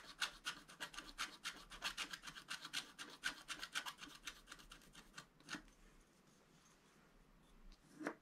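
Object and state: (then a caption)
Stylus scratching wax-coated scratch-art paper. A wooden stylus rubs and scratches back and forth across the coating of a flat, wax-coated scratch-art paper sheet. It makes quick, bright, rasping strokes about four per second for roughly five seconds. Then it goes nearly silent, with a single stroke around the middle and a last scrape at the end.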